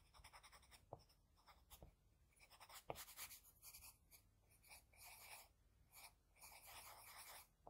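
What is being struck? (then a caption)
Graphite pencil on paper sheet. A wooden HB pencil tip makes repeated short scratching strokes on a flat white drawing sheet while shading an eye. The quiet, bright, papery scratches come in bursts of varying length, with a couple of sharper ticks near the first and third seconds.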